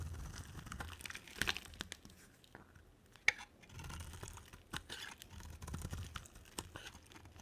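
A solid cream oval bar of soap is held in the hand and scraped and carved with a black-bladed utility knife, shaving off dry soap curls. Dry, crisp scraping and crackling come in bursts, with a few sharp bright clicks as the blade bites and a soft low rumble under each stroke.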